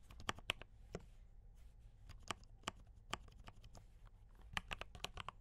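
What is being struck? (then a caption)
Mechanical keyboard with plastic keycaps. Fingertips type on a D84 mechanical keyboard with brown switches and cream and red plastic keycaps. It makes an irregular run of quick, dry, bright clacks that stop instantly, over a faint low hum.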